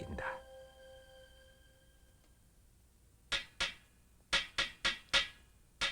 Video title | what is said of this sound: KTV 문화영화 - 우리의 전통 그릇 방짜유기 제작과정 '한국의 유기' (1992) | 두드려 만든 방짜 유기는 유달리 청아한 소리를 낸다